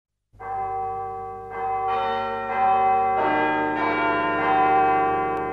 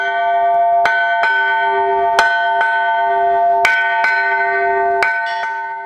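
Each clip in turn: First: Several overlapping bell strokes ring out around 760 Hz with a low hum; this bronze bell is cracked. Second: Paired strikes on a bell ring on with long, steady tones; the repaired crack no longer deadens it.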